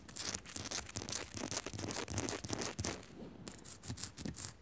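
Long nails scratch fast and tap on a small, solid pink Himalayan salt lamp, a rock-salt crystal sitting on a metal base. Quick, irregular bursts of bright, gritty scratching mix with short dry taps that die away almost at once, easing briefly near the middle before picking up again.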